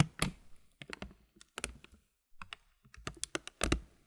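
Fingertips rub and scratch the upper plastic edge of a clear plastic muesli bag full of granola. The result is a run of short, dry crinkles and crunchy taps that stop quickly, with a low thump under each and bright crackle on top, separated by brief silences.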